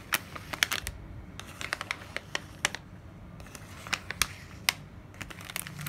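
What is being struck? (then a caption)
Kraft paper sleeve with a plastic window. A kraft paper sleeve with a plastic window is rubbed with the palm and scratched with long nails. The result is a quiet run of sharp, bright ticks and scratches over a soft, papery rustle, with each tap dying away almost instantly.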